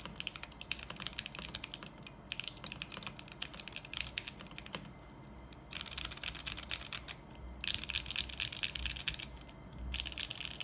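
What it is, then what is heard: Mechanical keyboard with plastic keycaps, acrylic case and steel plate. Fingertips type continuously on a 40% mechanical keyboard with beige plastic keycaps, a steel plate and a lit clear acrylic case, ending with one hand pressing keys and the spacebar. The result is a rapid stream of bright, sharp, clacky key clicks that die away almost instantly. Two brief lulls break the typing around the 5- and 7-second marks.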